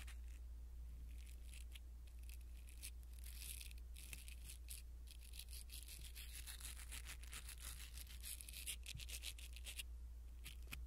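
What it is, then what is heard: Foam microphone windscreen being brushed. A blue silicone-bristle ear pick brushes across a small black foam windscreen on a pin microphone, making soft, bright scratchy rustles in quick, uneven strokes. A steady low hum runs underneath the whole time, and the overall level stays quiet and even.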